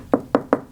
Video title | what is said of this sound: Fixing the rot in the transom of my 50 year old boat (part 5) | you can hear it better with the hammer, but that's solid